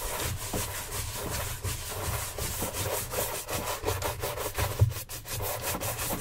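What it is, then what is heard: Leather dress shoe being brushed. Gloved hands quickly brush the upper of a hollow brown leather oxford shoe on a stand with a wooden-handled bristle shine brush. Rapid, scratchy swishes blend into a steady bristly hiss over a low, hollow rumble.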